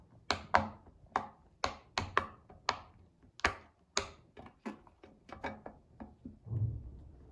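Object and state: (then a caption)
Silicone pop-it fidget toy. A child presses the hollow bubbles of a round pink silicone pop-it fidget toy with her fingertips, making a quick, uneven series of short, dull pops. Each pop has a crisp bright edge, a mid-pitched tone and almost no ring. The run ends with a softer, lower thump.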